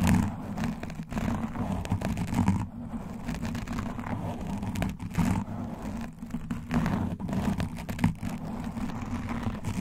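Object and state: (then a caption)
Foam microphone windscreen being scratched. A black foam windscreen on a microphone is gripped in both hands and scratched steadily with long nails and claw rings. The sound is a continuous, muffled, dense rumbling scrape, heavy in the low end with almost no bright content, marked by a few louder crackly bursts throughout.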